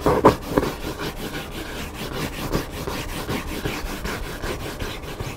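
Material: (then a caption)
Paper. Fingertips and nails scratch across the top cover and page edges of a large hardcover paper cookbook lying flat with its black spine showing. The result is a steady run of dry, papery rubbing strokes with a few louder scrapes near the start.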